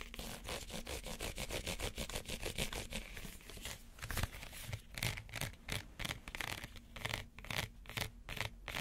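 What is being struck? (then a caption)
Small woven reed basket. Fingernails scratch the woven surface of a small, empty woven reed basket in quick, repeated strokes. Each stroke makes a dry, bright rasping burst over a low rumble. The strokes run steadily and grow slightly sharper and more spaced out in the second half.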